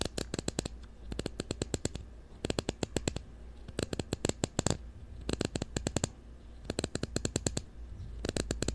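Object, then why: Ridged plastic screw cap. Fingernails scratch the ridged blue plastic screw cap of a supplement bottle held close to the mic, making seven bursts of rapid, dry clicking ticks. Each burst is a quick string of sharp, bright clicks with almost no ring, over a steady low hum.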